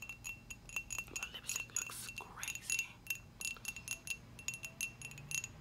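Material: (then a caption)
Ceramic. Long acrylic nails tap a hollow, dark glossy ceramic coffee mug on its rim and side about 29 times in quick, uneven succession. Each tap is a bright, clicky tick with a thin high-pitched ring that fades almost at once, and the sound sits almost entirely in the upper range.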